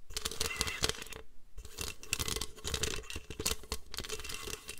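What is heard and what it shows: Long nails scratch and tap across a white plastic paper trimmer, working over its ribbed hollow underside and gridded top. The result is a dense run of quick, dry clicks and bright scraping with a hollow low knock, broken by a brief pause near the start.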